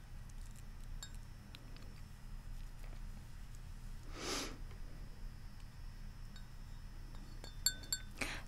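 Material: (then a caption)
Ceramic. Fingernails tap the side of a large, hollow white ceramic Central Perk mug held up in both hands. Faint, bright clinks with very short ring sit over a steady low rumble, with a short airy burst midway. A few sharper taps come near the end.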